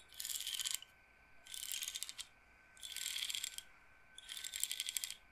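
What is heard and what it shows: Rows of wooden beads on a wooden frame, like an abacus or massage roller, are flicked and rolled with long nails. They make four separate bursts of quick, dry, bright rattling clicks with almost no low end, and each burst stops sharply into near silence.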